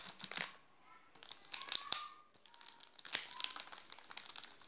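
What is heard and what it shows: Fingertips and nails scratch and crinkle the shiny yellow plastic wrapper of a full, sealed Garoto chocolate bar. Bright, crisp crackles come in three bursts separated by short silences, with sharp high clicks and brief squeaky tones.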